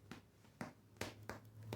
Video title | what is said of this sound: Pan Integral | Suena hueco. Eso es un buen indicador de que este pan está cocido adentro.